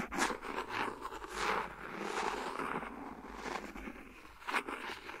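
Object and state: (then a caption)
Silicone phone case scratched and tapped. A thin, empty, hollow clear silicone phone case lies flat on a recorder while the back end of a clear plastic pen taps and scratches along its edge. Short dry taps alternate with soft, rasping scrapes in the mids. A bright tap near the end stands out.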